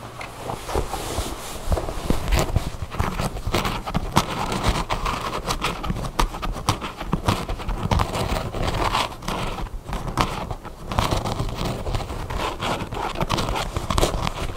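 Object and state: Denim jeans.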